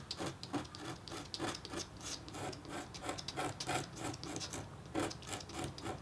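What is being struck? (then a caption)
Copper-foil scratch-art board. A metal-tipped engraving stylus scratches a hummingbird design into a flat, thin, black-coated copper-foil scratch-art board. Quick, repeated rasping strokes sound dry and bright with a faint scraping tone. Each stroke stops short with almost no ring.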